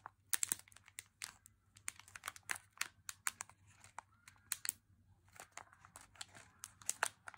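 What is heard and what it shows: A full, small plastic bag of M&M's milk chocolate candies is held in both hands and squeezed and crinkled with the fingers, while nearby chocolate bars stay untouched. The result is a quiet, steady run of sharp, bright crinkles and crackles with no low rumble.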